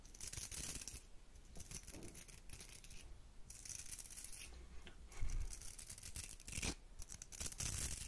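Long nails scratch and strum the bristles of a round hair brush with a metal barrel, making dry, bristly rasps with a bright, hissy top. Short flicking strokes come in quick bursts over a soft low rumble, with a few louder strums near the end.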